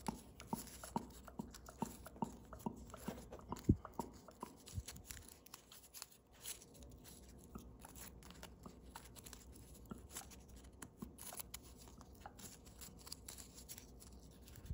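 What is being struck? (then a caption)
Folded foil origami paper. A small crane folded from thin blue foil origami paper is held in both hands while its points are folded and creased with fingertips and thumbnails. Quiet, dry crinkles and rapid sharp ticks come fast in the first few seconds, with one louder snap. Softer, steady rustling and scattered clicks follow.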